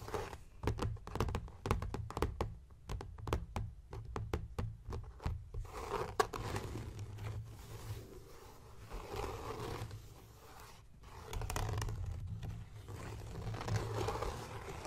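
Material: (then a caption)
Leather. Fingertips and short nails tap and scratch the blue embossed leather cover of a closed, solid, notebook-sized hardcover journal with a Viking ship design, lying on a wooden table beside an untouched bead bookmark. For the first five seconds, quick dull taps come in a rapid, irregular series with a low, thumpy body. Then a steadier rough, rustling scratching takes over and rises and falls in loudness, with a few taps between.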